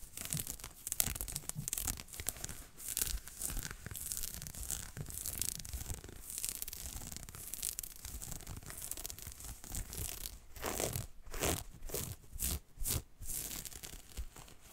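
Fingernails of both hands scratch a soft, textured green ribbed knit jumper worn on the body near the waist, right in front of the mic. A dense, continuous, bright scratchy rasp runs over a low rumble. Toward the end it breaks into slower, separate strokes.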